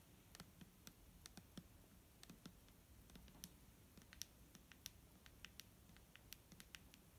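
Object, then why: Plastic bottle filled with liquid. Medium-length painted fingernails tap irregularly on a medium-size, hollow, clear plastic Garnier micellar water bottle with a green cap, filled with liquid and held in one hand. The result is a quiet series of short, sharp, bright clicks with almost no ring, over a faint low rumble.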